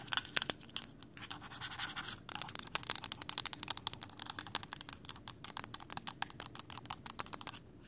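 Long acrylic nails tap and scratch a small mint-green plastic power bank or charger with a glowing blue ring light and a hard hollow casing, held in the hands. A brief scratchy rasp in the first couple of seconds gives way to a steady run of quick, crisp, dry clicks. The sound is quiet and bright with no ring.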